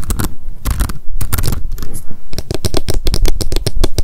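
Long decorated acrylic nails tap rapidly on a small pink m.memo spiral-bound paper notebook with a card cover, held in the hands. The taps come as quick, dry, papery clicks with scratchy rustling and a dull low thump underneath, each dying away almost at once.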